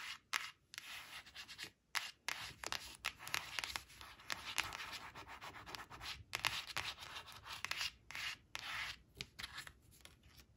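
Long acrylic nails rapidly scratch and rub across a thin, flat laminated cardboard flash card printed with sunflowers, resting on a woven cloth. The sound is a dry, bright, hissy scratching with almost no low end, coming in quick bursts and strokes broken by brief silent gaps.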